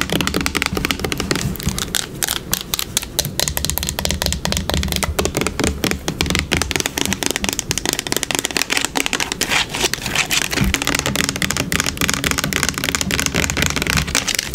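Long pink nails rapidly tap the plastic body and label of a yellow plastic hair product bottle held sideways. The result is a dense, continuous stream of bright, crisp plastic clicks with a dry, hollow tone and very short decay, steady throughout.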